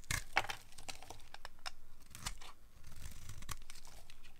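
A solid white rectangular bar of old, dry soap is held in the hand and shaved with a small utility knife blade. The blade makes a run of short, dry scraping and crunching strokes, with crisp high crackle over a low rumble. The soap breaks into crumbly flakes.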